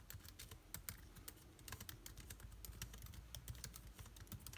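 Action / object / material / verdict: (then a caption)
tap / plastic laptop keyboard / plastic / none. Fingertips of both hands type rapidly on a backlit MacBook Air keyboard with plastic keys. The result is a dense, quick stream of short, bright clicks that stop almost instantly, over a steady low hum.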